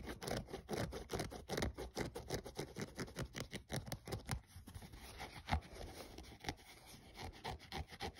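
A thumbnail rubs and scratches along the synthetic side panel and the rubber/foam sole edge of a grey running shoe. The result is a rapid, dense series of short, raspy scratching strokes with a lot of low-end weight and little brightness. The strokes grow somewhat softer and sparser toward the end.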